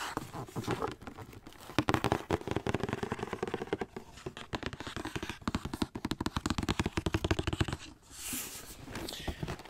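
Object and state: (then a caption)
Cardboard shoe box. A hollow white cardboard Nike Air Max 270 shoe box is held and tilted while fingertips tap and rub its surface. Rapid dry taps with a low, hollow body blend into soft scraping and crinkling. A brighter rubbing swish comes near the end.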